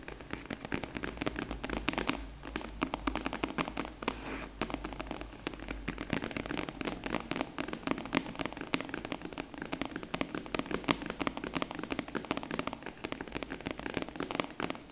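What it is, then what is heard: Faux leather hard case. A long, flat, closed purple hard case covered in faux leather, hollow inside, is quickly tapped with long nails in a rain-like pattern. The result is a dense, continuous patter of short, sharp clicks that cluster like rainfall.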